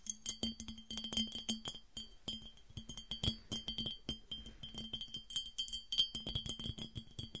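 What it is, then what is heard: Empty glass piggy bank. Long dark acrylic nails from both hands tap rapidly over a mid-sized, hollow, empty clear glass piggy bank on short legs resting on a table. The result is a dense, irregular run of bright, short clinks with a steady glassy ring near 3.1 kHz and a soft low knock beneath each tap.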